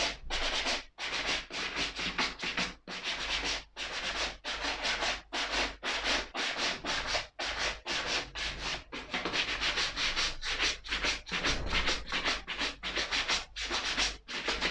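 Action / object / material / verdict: scrape / suede leather ankle boot brushed with a bristle brush / suede / none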